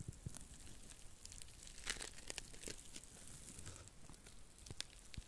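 A small, flat, porous blue dry cellulose sponge, soft and flexible, is held in both hands in front of the mic while long nails scratch and squeeze it. The result is a steady stream of quiet, crinkly, tearing crackles with sharp bright clicks and very short decay.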